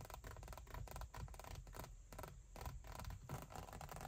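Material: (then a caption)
Leather. Long white acrylic nails scratch and tap the large, padded backrest of a black leather (likely faux leather) front car seat with a perforated fabric insert. The result is a quiet, dense stream of low, muffled scratching and soft tapping, with short bright clicks in quick succession.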